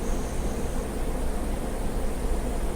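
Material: Nothing is struck.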